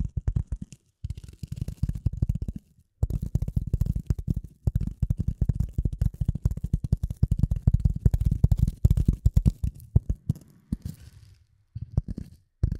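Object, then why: Piece of polyethylene foam. A piece of polyethylene foam is tapped and handled in rapid bursts of soft, muffled thuds. The sound is deep and dull, with almost no high content, and each tap dies away instantly. Brief pauses break up the tapping, and the clip ends with a few scattered taps.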